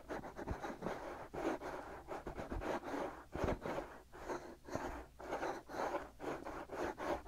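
Fingertips and short nails of both hands scratch the two hollow, ear-sized, soft white silicone ear shells of a binaural microphone. The result is a steady run of close, rough scratching bursts with a low rumble, each swelling and fading in quick succession, concentrated in the mid range with little bright content.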